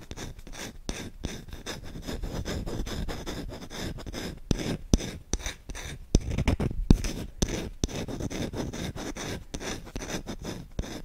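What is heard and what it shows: Short-nailed fingertips rub and scratch fast and aggressively on the bowl of a solid wooden spoon held close to the mic. It makes a continuous low, dry rasping rumble broken by sharp little clicks and brief pauses, with a faint bright hiss above.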